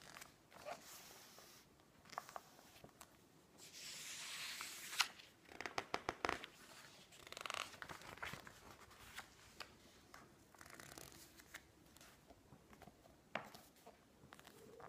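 Long nails slide across the pages of a thick glossy-paper magazine with garden photos lying open on a table, and a page is flipped over. Soft, bright rubbing swishes and a hissing slide give way to a quick flurry of crisp, crackling taps as the page turns, then quieter scattered paper ticks. The page-turning and rubbing stay gentle and close throughout.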